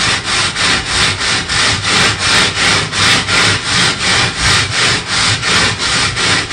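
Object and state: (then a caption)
Perforated metal sheet scrubbed with a brush. A purple plastic bristle brush scrubs back and forth across a flat perforated metal panel. Steady, rhythmic, bright scratchy strokes come at nearly three per second, with a constant hiss between strokes.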